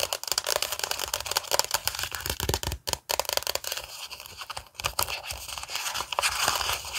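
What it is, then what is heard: Glossy paper magazine. Long nails tap and scratch across the cover of a glossy gaming magazine held up in front of the face. The result is a dense run of quick, dry, crinkly taps and papery scrapes, bright and high-heavy with almost no low end. There is a brief pause about three seconds in.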